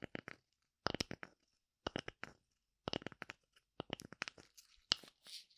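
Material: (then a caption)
Wood. Long nails scratch and tap the flat cut face of a thin, hand-sized oval slice of light wood with a brown bark rim, held in one hand. Short, dry, crunchy clicks and scrapes come in quick clusters separated by brief silences, bright and crisp with almost no low end, and each one dies away almost at once.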